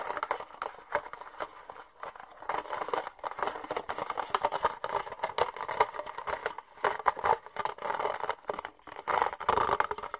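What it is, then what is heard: Empty thin plastic cup. Fingernails tap and scratch the side wall of an empty, hollow, thin red plastic party cup held in both hands. The result is a quick, irregular stream of dry clicks and scratchy rasps with a hollow, plasticky mid-range tone and almost no low end. Each tap dies away instantly, with brief quiet gaps between bursts.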